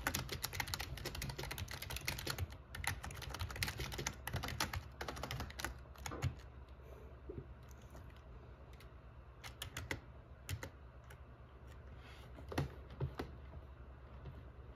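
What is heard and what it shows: Fingertips type on the black plastic keycaps of an RGB plastic membrane gaming keyboard with a metal plate. A dense run of rapid, clacky keystrokes fills the first six seconds, then thins into scattered, sharper single presses. A steady low hum sits underneath throughout.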